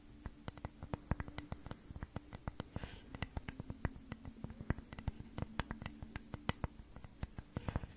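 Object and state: Wooden flower cutout.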